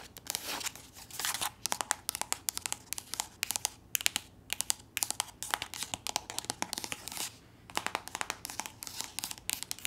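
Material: Soft plastic.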